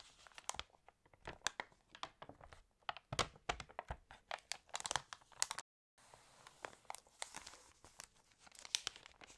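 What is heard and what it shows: Pages of a glossy paper fashion catalog are turned and crinkled while fingernails tap on them, making a dense run of sharp, dry, bright crackles and ticks with little low end. The sound stops briefly just before the six-second mark, then lighter crinkling and tapping carry on to the end.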